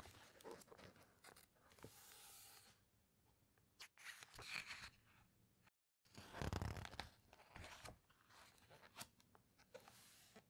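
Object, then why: Glossy paper pages of a hardcover book. Fingertips and long nails squeeze and rub the glossy paper pages of a large hardcover underwater book, with one slow page turn. Soft, crinkly rustles and sharp little ticks of nail on paper come in uneven bursts, with brief swells of brighter swishing as the page moves, before settling back into quiet rubbing.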